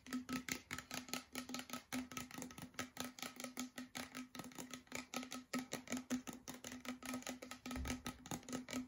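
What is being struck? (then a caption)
Plastic water bottle, partly filled. A clear plastic water bottle with a blue label, about half a litre, hollow and holding some water, is held in both hands and tapped and scratched along its sides with the fingertips and nails. Quick, irregular taps, roughly two or three per second, give a short, hollow plastic ring with a steady low tone, mixed with bright, crackly scratching. The clip is quiet and close, with each tap dying away almost at once.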